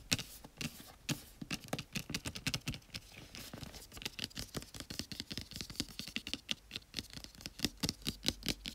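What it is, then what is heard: Cardboard box. Fingertips and medium-length nails tap and scratch across the front face of a small, hollow, flat white printed cardboard retail box for an LG Chocolate phone, held upright in both hands. Dozens of quick, dry taps mix with bright, papery scratching, each hit dying away almost at once with no ring.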